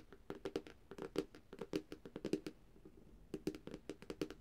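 Long, dark-painted nails and fingertips tap across the reflective glass screen of a flat, thin, black Samsung tablet. About two dozen quick, dry clicks with a hollow tone near 395 Hz come in uneven bursts, with a brief pause around the three-second mark. Each tap dies away almost instantly, and the overall level is quiet.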